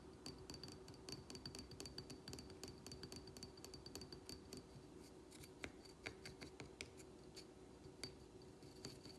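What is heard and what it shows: Fingernails tap rapidly on the hard glazed surface of a small, empty, dark blue glazed ceramic plant pot with a drainage hole, held up in the hands. The taps are quick, bright, dry clicks with almost no ring, coming in a dense, uneven stream over a faint steady low hum.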